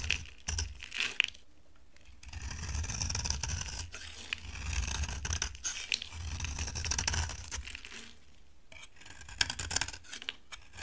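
A solid cream-colored bar of dry soap held in the hand is scraped and carved with a utility knife blade, sending flakes falling. Dry, crisp scraping strokes with bright, brittle crackles are heard over a low rumble, with quieter pauses between passes.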